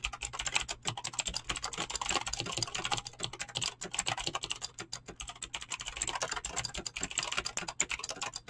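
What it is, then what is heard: Mechanical keyboard with PBT keycaps. Fingertips fast-type on a mechanical keyboard with clicky green switches and PBT plastic keycaps. A rapid, steady stream of sharp, bright clicks with very short decay continues throughout, over a faint low hum.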